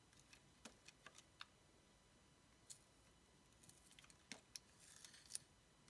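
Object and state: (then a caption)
Bar of soap being sliced. A dark blade slices and scrapes strips off a palm-sized yellow oval bar of solid soap held in the hand. Short, crisp, bright cuts and scratchy scrapes come in scattered clusters over a quiet background, each one dying away almost at once.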